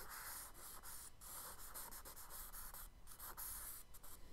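A charcoal stick is scratched along the right side of a kraft paper sketchbook page resting on a dark desk, in repeated strokes. The quiet, steady, gritty scraping has a bright, hissy texture over a faint low hum, with brief dips between strokes.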